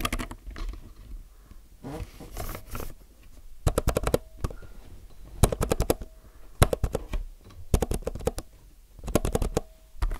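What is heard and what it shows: Fingertips press keys near the Enter key on a low-profile mechanical keyboard with plastic keycaps. The sharp, short clicks come in quick clusters with quiet, faintly rustling gaps between them.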